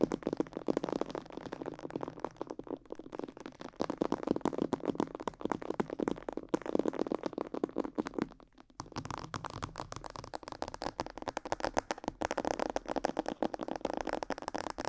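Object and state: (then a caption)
Plastic mannequin head tapped and scratched with nails. Long yellow nails tap and scratch across the neck, jaw and sides of a life-size glossy black plastic mannequin head, likely hollow. The result is a dense, fast stream of dry clicks and scrapes centered in the low mids, with a brief pause near 8.5 seconds before the tapping resumes.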